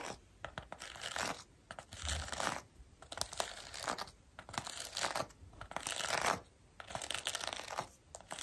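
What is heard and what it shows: Long pink acrylic nails scratch and brush across a black foam or mesh windscreen covering a microphone. Dense, bright, crackly scratching comes in irregular bursts separated by short quiet gaps, with a rough tearing, crinkling texture and little low end.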